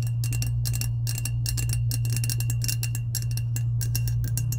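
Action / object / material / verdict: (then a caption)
tap / powder-coated stainless steel tumbler / stainless steel / none. Long acrylic nails tap and scratch the side of a hollow, medium lilac, insulated powder-coated stainless steel tumbler. A rapid, irregular stream of bright clicks and scrapes plays over a steady ring near 2.8 kHz. A constant low hum runs underneath throughout.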